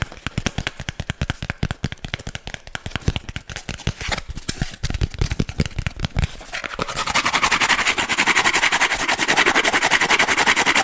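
Fingernails tap and scratch the face and edge of a hand-sized, round, flat disc of brown corrugated cardboard. For about the first six seconds, quick dry taps come in an uneven rhythm. Then the sound shifts into a steady, bright, rasping scratch that carries through to the end.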